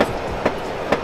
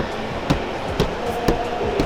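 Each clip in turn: First: hollow-sounding undamped car fender. Second: damped car fender sounding solid, not hollow.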